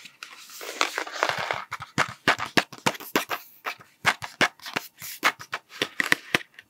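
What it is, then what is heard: Cardboard sweet tube. A hollow cardboard Smarties tube with a blue plastic cap is held near the mic and tapped with fingertips and nails. It opens with a rising, rustling swell, then breaks into a rapid, uneven run of short, dry, clicky taps. The taps carry a bright tone centred near 2 kHz, with almost no low end.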